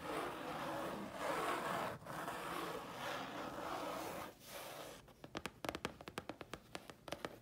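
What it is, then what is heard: Grey chipboard sheet. Long fingernails scratch across a thin, flat grey chipboard sheet with a steady, dry, broadband rasp for about five seconds, pausing briefly twice. They then switch to a quick, uneven series of sharp, short clicking taps on the sheet, each dying away almost at once.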